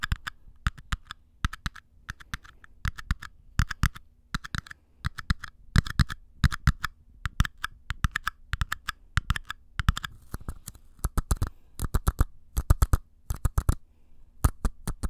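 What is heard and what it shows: Two identical small, empty, hollow paper cups, held open end toward the mic, are scratched and tapped with fingernails and fingertips. Quick bursts of short, dry taps and scratches come in clusters, each with a hollow low thump and a crisp papery click. A faint steady hum runs underneath throughout.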